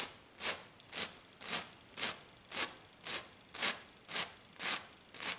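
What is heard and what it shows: Long black nails on both hands scratch a flat, silver glitter-coated sheet, making ten fast, evenly spaced bright rasping strokes. Each stroke swells and fades quickly, with almost no low end, between quiet gaps.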